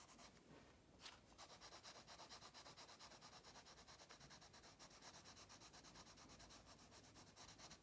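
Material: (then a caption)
Paper. A pink wax crayon held in the fingers rubs rapidly back and forth across an open paper coloring book page lying flat on a solid table, scratch-coloring a fish. Quiet, bright, papery scratching comes in a steady run of about 36 quick strokes, with a softer start and a sharper scrape near one second.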